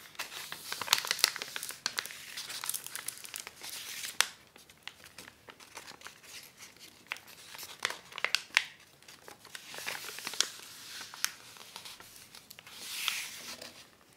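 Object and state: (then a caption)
Acetate dust jacket cover. Fingertips and long nails run along the fold of a thin, flat, white folded sheet of acetate dust jacket cover film with paper backing lying on a wooden table, rubbing its surface. The sound is bright, crisp crinkling and rustling with many sharp, quick snaps, in bursts that rise and fade with almost no low end.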